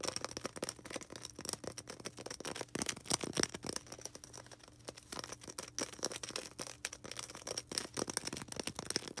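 A small, solid white polystyrene foam ball, held in both hands, is rapidly tapped and scratched with long red nails. The result is a dense stream of sharp, dry clicks and scratchy rasps, bright and crisp with very little low end, at a fairly quiet level. A faint, steady low hum runs underneath.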